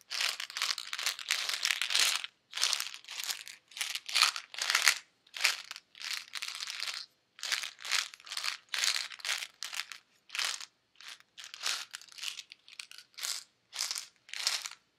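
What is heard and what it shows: Long red-painted nails tap and scratch a small, hollow white plastic pill bottle, probably holding pills, held up close. The result is a steady run of dry, bright, crinkly scratching and tapping bursts with short gaps between them, no low end, and almost no ring after each stroke.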